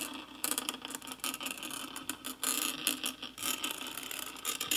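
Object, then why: Metal mesh microphone grille. A small wooden-handled brush rubs and brushes the hollow metal mesh grille of a handheld karaoke microphone with a black plastic body and LED ring, held close throughout. The sound is a dense, bright, scratchy bristling with almost no low end, rising and falling in rough crackly bursts as the strokes change pressure and speed.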